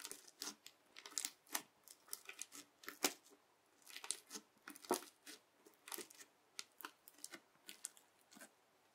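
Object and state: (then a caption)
Crunchy bead slime. The edge of a yellow plastic knife presses and cuts repeatedly into a flat teal slime filled with clear beads. Each cut gives a quiet, crisp, bright crunch with little low end, about two dozen in an uneven rhythm. The crackles die away almost instantly.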